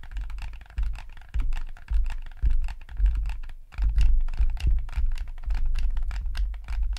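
Fingertips click the buttons and D-pad of a yellow hollow plastic gamepad and scratch across its shell. The result is a dense run of quick, dry plastic clicks and rubbing scratches in uneven bursts, with a hollow low thump under the bright ticks.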